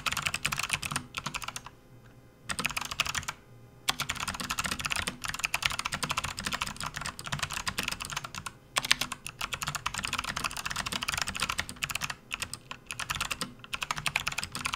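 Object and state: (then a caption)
Plastic computer keyboard being typed on. Both hands type fast with their fingertips on a full-size, RGB-backlit plastic membrane gaming keyboard resting on a desk mat. The result is a dense, bright patter of short, dry key clicks with no ring, broken by brief pauses around 2 and 3.5 seconds.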